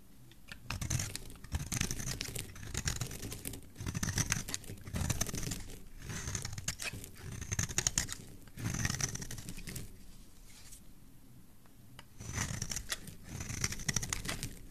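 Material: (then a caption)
Soap. A rounded, solid purple bar of soap held in the hand is shaved and carved with a metal blade. Repeated bursts of crisp, bright scraping and shaving sound over a soft low rumble, with a quieter pause before the carving resumes.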